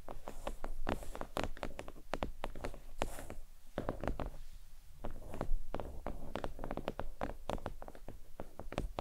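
Long pointed nails tap rapidly across a thin, flat, red stitched faux leather oval desk mat resting on a towel. The result is a steady stream of quick, soft, dull taps with a low, muffled body and very short decay.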